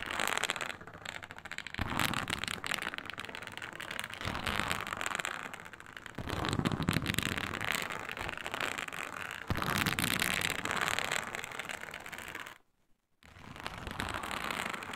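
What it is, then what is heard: Faux snakeskin leather mat. Long pointed nails scratch the textured surface of a flat, iridescent faux snakeskin mat made of embossed reptile-scale synthetic leather. The scratching is dense, crackly and bright, shifting between softer and more vigorous stretches. It stops briefly for a near-silent gap just before the thirteenth second, then resumes.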